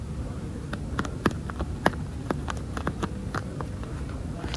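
Long nails and fingertips tap, scratch and squeeze a yellow, air-filled, hollow inflatable PVC swim float lying among foam pool noodles. Quick, irregular sharp clicks and taps stand out over a dull, low, rumbling scratching, each tap dying away almost at once.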